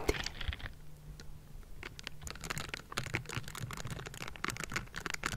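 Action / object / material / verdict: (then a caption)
scrape / metal mesh microphone grille / metal mesh / none. Bristled fingers of pink silicone scrubbing gloves scratch and brush across a metal mesh microphone grille, making a dense run of dry, bright scratchy rasps and quick ticks over a steady low hum. The strokes thin out briefly early on, then pick back up into busy, overlapping scraping to the end.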